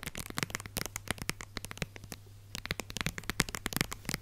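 Long red nails tap and scratch quickly on a small red and white plastic squeeze tube of hand lotion, hollow and partly full. Dry, clicky taps and scratches come in a fast, uneven stream, with a brief lull near the middle, over a faint steady low hum.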